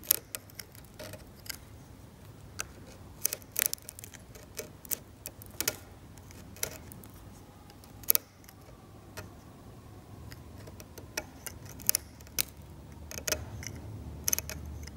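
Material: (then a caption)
Varnish and paint. A metal scalpel scrapes paint off a varnished oil painting on canvas, producing about thirty short, sharp, bright clicks and scratches at irregular intervals. Each sound dies away almost at once over a quiet, steady low hum.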